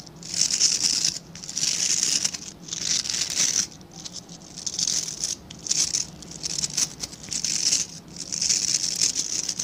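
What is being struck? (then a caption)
Synthetic-bristle scrub brush. Fingertips scratch and flick the dense, dark synthetic bristles of a hand-sized scrub brush with a plastic back. The result is a series of bright, high, crackly scratching bursts, each lasting about a second, separated by brief quieter gaps, with almost no low end.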